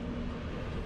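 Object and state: Nothing is struck.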